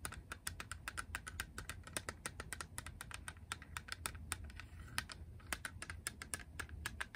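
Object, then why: Small hard-plastic game cartridge tapped with fingernails. Long acrylic nails tap rapidly on the back of a small grey hard-plastic Game Boy cartridge. The result is a steady stream of crisp, bright, very short clicks, much like fast typing, over a faint low rumble.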